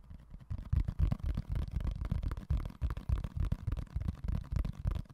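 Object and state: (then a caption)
Empty plastic food container. Fingertips and nails tap and scratch the lid and side of a small, empty, hollow, clear rectangular plastic food container held in one hand beside the mic. The result is a quick, irregular run of about fifteen dull, low, hollow taps with short scratchy rustles between them, each tap dying away almost at once.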